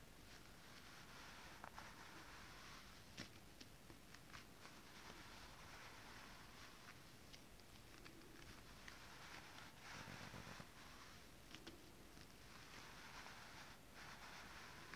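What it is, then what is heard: Holographic scale-printed fabric. A thin sheet of holographic mermaid scale-printed fabric is gathered and rubbed with fingertips and long nails, creasing the sheet. Quiet, steady crinkly rustling and soft swishes fill the clip, broken by occasional sharp, bright crackles as the fabric folds.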